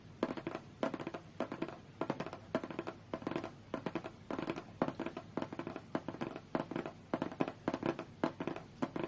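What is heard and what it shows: A closed, hollow, medium-sized white cardboard tablet box is tapped with long fingernails in quick bursts of rapid taps. Each tap gives a dry, hollow knock with a low-mid body and almost no ring, separated by brief quiet pauses.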